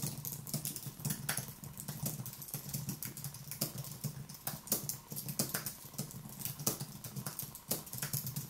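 A slim white Apple-style keyboard with plastic keys on an aluminium base, resting on a wooden desk, is typed with fingertips in continuous rapid taps. Quiet, crisp, bright key clicks patter unevenly over a steady low hum, with occasional louder strokes standing out.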